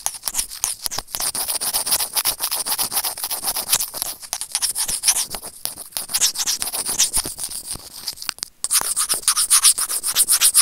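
Serrated plastic tweezers scratch rapidly and unevenly over a small, hollow white plastic earphone inline microphone remote. The result is a dense, bright, hissy scraping with almost no low end. After a brief pause near the end, the scratching returns slightly louder.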